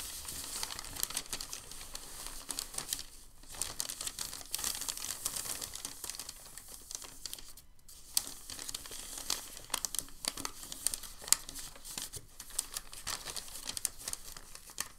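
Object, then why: Sheet of packing paper. A sheet of crinkled white packing paper is held at the edge with both hands and folded over. It gives a steady, bright crinkling made of rapid, dry crackles with very little low end. The sound eases briefly around three and eight seconds, then resumes just as dense.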